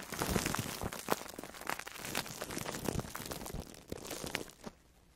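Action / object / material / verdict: scrape / foam sponge wrapped in plastic food wrap / plastic film / none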